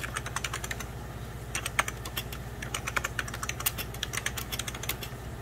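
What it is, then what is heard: Plastic computer keyboard being typed on. Fingertips of both hands type on a hollow, beige 1990s Packard Bell plastic computer keyboard. Quick, bright plastic key clicks come in an uneven stream, with a short pause about a second in before the typing resumes. A steady low hum runs underneath.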